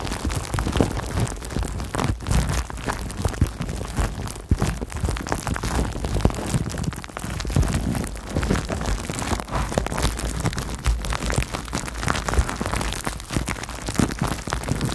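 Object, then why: Plastic bubble wrap. Clear plastic bubble wrap wrapped around a microphone is squeezed and popped with fingertips and long painted nails. It makes a dense, continuous crinkling and crackling full of sharp little pops over a heavy low rumble, at a steady level for the whole clip.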